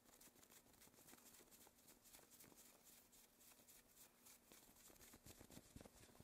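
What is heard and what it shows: Long, thin black satin gloves worn on both hands rub together as the fingers interlace and the palms slide against each other. The result is a steady, soft, bright swishing fabric friction with small irregular rustling bursts and a faint low hum underneath.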